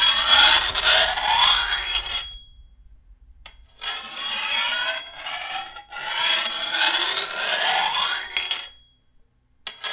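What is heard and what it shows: A hand-held steel file is drawn along the edge of a long, thin, solid steel machete blade in long, bright rasping strokes with short pauses between them. The gritty metal-on-metal scrape rises and falls through each pass, with a thin high ring in the steel that fades quickly once a stroke ends.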